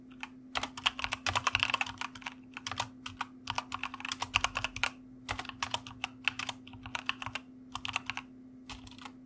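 A white plastic mechanical computer keyboard is typed on with the fingertips of both hands. Quick, bright clicking keystrokes come in bursts and pauses, each one short and sharp. A steady low hum sits underneath throughout.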